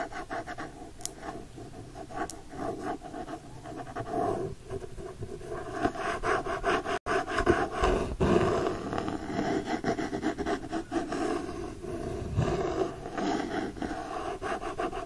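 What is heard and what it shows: A hardcover copy of *The Secret Garden*, with a printed paper-covered board cover, is held upright while nails and fingertips scratch across the front cover illustration. The result is a steady, uneven scratching and rubbing texture centered in the low mids, with little bass or bright top. There is a brief silence just before the middle, then the scratching grows a little louder and denser.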